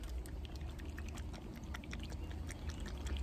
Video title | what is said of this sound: Central AC Maintenance Epic Fail | if you hear the oils inside your dual capacitor like that even though it's still good you need to recommend replace it